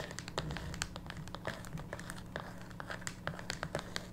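A small closed printed cardboard tarot/oracle card box, hollow with a card deck inside, lies on a wooden table and is tapped and scratched on its top and sides with long pink natural nails. Quick, dry tapping clicks mix with bright scratchy crinkling over a steady low hum. The hits die away almost at once.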